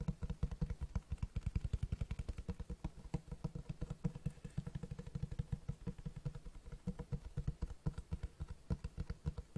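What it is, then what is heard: Hardcover book with cloth-textured cover. Fingertips tap rapidly on the cloth-textured front cover of a large black Berserk Deluxe hardcover book. It makes a steady stream of short, dull, low thuds that stop dead with no ring and almost nothing bright.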